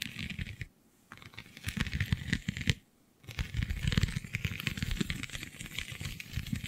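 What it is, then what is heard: Vinyl sheet with raised scales scratched. Long nails scratch across the raised scale-like bumps of a flexible, iridescent holographic plastic/vinyl sheet, making dense, crackling, ticking scratches with a full low body and a bright edge. The scratching breaks off twice for a brief silence, then resumes steadily to the end.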